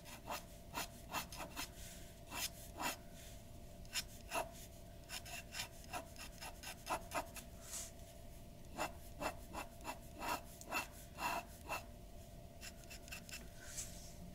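A glass dip pen nib scratches fine hair strokes onto a white paper sheet resting on a wooden desk. Short, bright, dry scratches repeat in quick, irregular bursts over a soft steady hiss and a faint low tone.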